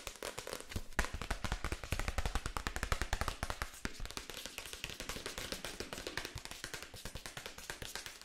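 A paperback book is held open while its pages are riffled and its card cover is scratched and tapped with long acrylic nails. A fast, dense stream of short, dry clicks and taps with a soft, thumpy low end runs throughout, mixed with bright papery rustling and scratching. Each hit dies away almost at once.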